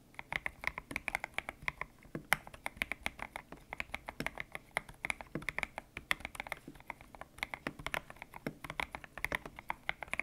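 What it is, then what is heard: Mechanical keyboard with PBT plastic keycaps. Fingertips type steadily on a white-cased mechanical keyboard with grey and pink PBT plastic keycaps, its hollow case resting on a desk mat. Each keystroke is a short, crisp, bright clack with almost no ring and little low end. The presses form a fast, uneven patter across the whole clip.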